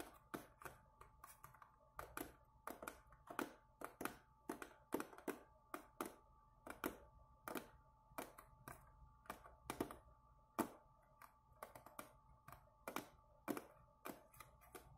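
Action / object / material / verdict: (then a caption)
tap / small cardboard box / cardboard / none. Long nails tap and scratch the front face of a small, hollow, printed Speedball cardboard box held upright in both hands. A quick, uneven run of sharp, dry taps with short scratchy bursts sounds over a faint steady hum near 1 kHz, each tap dying away almost at once.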